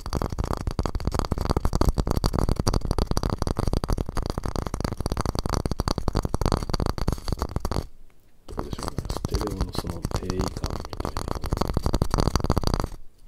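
Knuckles and fingertips knock rapidly on the top edge of a small, square, hollow, empty, light wooden masu cup. The dense tapping is dull and low-heavy, with short dry hits. It stops briefly around eight seconds, then resumes until near the end.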